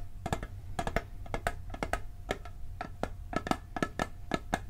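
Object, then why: Tinplate cookie tin. A round, blue-printed tinplate cookie tin about 20 cm wide, hollow with its lid on, is tapped on the lid and side with fingernails and fingertips. The sound is a quick series of short, dry metallic clicks that die away almost instantly, each with a faint ringing tone near 750 Hz over a low background hum.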